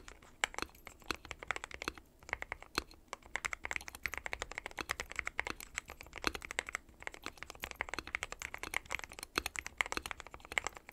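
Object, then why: Mechanical keyboard with plastic keycaps. A dark metal-cased mechanical keyboard with white and pastel plastic keycaps is typed on continuously with the fingertips of both hands. Dense, bright, short clicks and clacks run steadily throughout, with a few louder key strikes standing out.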